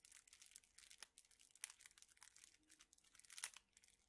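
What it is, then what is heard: Plastic-wrapped straws being crinkled. A hand-sized bundle of straws in clear plastic wrappers is squeezed and crinkled with the fingers. The result is a quiet, steady, bright crackling made of many short snaps, with a few sharper, louder crackles standing out around 1.0, 1.6 and 3.4 seconds, and almost no low end.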